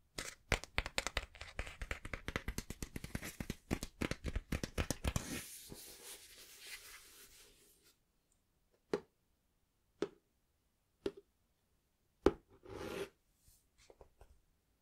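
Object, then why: Cloth-covered hardback book. Fingertips rub and scratch the cloth cover of a small, closed, green cloth-covered hardback book. Quick, dense scratching for about five seconds gives way to a softer rubbing hiss that fades out. After that come sparse, separate scratches and short strokes with quiet gaps between them.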